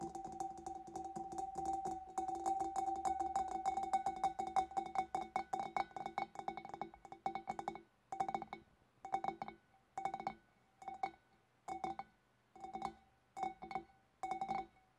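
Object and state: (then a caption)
Glass fish bowl tapped with nails. Long black nails tap rapidly on the sides and shoulders of a large, hollow, empty clear glass fish bowl, giving a steady stream of light clicks with a ringing glassy tone around 760 Hz and bright overtones. After about eight seconds the tapping breaks into short, separate flurries with quiet gaps between them.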